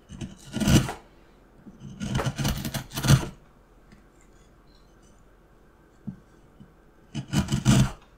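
A steel carving knife repeatedly cuts and scrapes the surface of a solid, light wooden carving block. Bursts of dry, rasping scrapes with broadband bright edges come in clusters near the start, middle and end, separated by quiet pauses.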